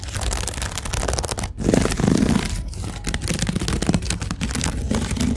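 Fingertips and nails scratch along a large, hollow, empty storage basket woven from white twisted rope with brown strands, sitting on a store shelf, with a mini mic held close. The result is a dense, continuous crackly scraping with a heavy low-end rumble, rising in bursts of fast and slower strokes with only brief pauses.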